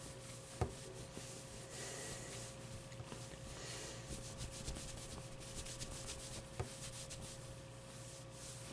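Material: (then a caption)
Plush fabric. A hand rubs across the top of a medium, soft stuffed avocado plushie made of plush fabric, making a quiet, continuous brushing and scratchy fabric hiss that runs bright. A couple of brief sharper ticks stand out, and a faint steady low hum sits underneath throughout.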